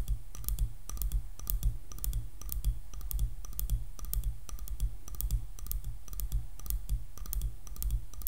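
Long nails tap rapidly on the back of a light, solid wood hairbrush, producing quick, irregular dry clicks. Each click is short and bright with almost no ring, heard over a steady low hum.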